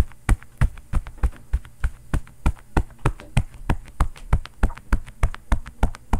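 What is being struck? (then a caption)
Quilted padded cotton oven mitt. A bare fist pounds and knocks fast on a long, padded, quilted cotton oven mitt with a floral print, worn on the other hand. The soft, hollow mitt gives steady, rapid, deep muffled thumps that stop almost at once, with faint lighter taps between them. The rhythm is quick and fairly even, close to a racing heartbeat.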